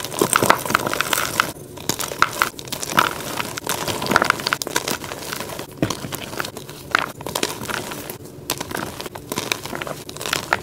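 Crumbled blocks and powder of soft, dry, solid white magnesium carbonate gym chalk in a pile are squeezed and rubbed between the fingertips and palms of both hands. The result is dense, bright, crunchy crackling and crumbling with brief quieter pauses between bursts.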